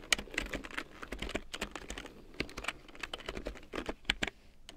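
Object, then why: Plastic computer keyboard. A full-size large print keyboard with a black plastic frame and big yellow plastic keycaps, lying on faux fur, is typed on with long painted nails, and later the hands partly leave the keys to tap. Quick, bright, clicky plastic taps come in an irregular typing rhythm, each dying almost instantly over a soft low background.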